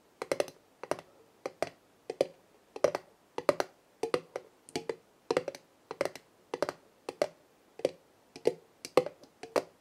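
Long nails tap the black metal lid of a large glass jar full of dried herbs, then move to tapping the glass side. The taps come in quick, clustered bursts of sharp, clicky hits with a midrange ring that dies away almost instantly, separated by short pauses over a quiet background.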